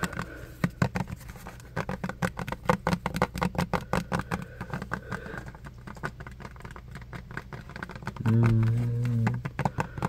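Fingertips and nails tap and scratch a small, partly full, clear plastic hand soap bottle with a pump top and an orange label. Quick, irregular, dry taps and scratchy clicks pile up over a steady low hum. Near the end, a louder sustained low tone swells for about a second before the tapping carries on.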